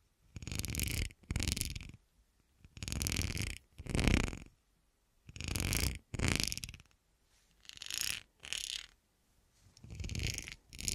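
Fingertips and nails rub and scratch a clear, solid, textured, hand-sized cut glass horseshoe held and handled on a dark table. Ten separate scratching strokes, mostly in pairs, each sound bassy and rumbling with a bright, hissing edge. Brief quiet gaps fall between them.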